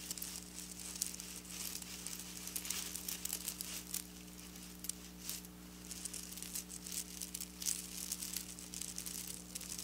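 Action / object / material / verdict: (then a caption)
scrape / plastic sequin fabric / plastic / none. Long black-polished natural nails scratch and trace across a flat sheet of textured silver plastic sequin fabric lying on a counter. The result is a continuous bright, crinkly rattling with rapid scratchy flurries over a steady low hum.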